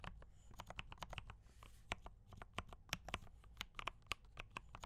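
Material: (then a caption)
Plastic. Both hands type continuously with fingertip taps on a compact mechanical keyboard with D84 brown switches and cream and red plastic keycaps. The result is a quick, uneven run of short, crisp plastic clacks with a bright, clicky tone, heard over a faint low background rumble.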